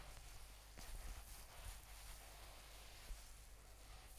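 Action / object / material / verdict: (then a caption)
scrape / faux fur covered notebook / faux fur / none. A mint-green faux-fur notebook with a "Chill Pill" patch is held close to a Razer Seiren X microphone while its fur is rubbed and scratched with fingertips and long nails. The result is a quiet, steady, hissy rustle with a soft low rumble underneath and a slight bump just after three seconds.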